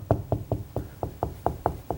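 Nine quick knocks on a drywall wall over wood 2x4 studs, each a short, dull thud with a low body and a brief tone near 700 Hz that dies away almost at once. The knocking locates the solid spot where a stud sits, the stud an electrical box is nailed to, as opposed to the hollow-sounding bay between studs.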